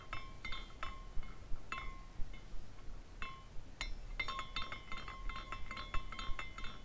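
A small glass carousel figurine spins while its glass horse pendants clink against each other. Bright, glassy clinks with a ringing tone near 1 kHz come irregularly, thickening into a rapid cluster of tinkles in the second half.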